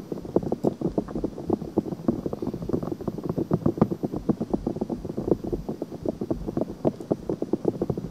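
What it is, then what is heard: Silicone microphone ear. Long nails rapidly scratch and tap the outer ear of a pale pink silicone binaural microphone ear. The result is a dense, continuous run of quick, dry, muffled scratches and taps, mostly low-to-mid in tone with little brightness, each tap dying away almost instantly.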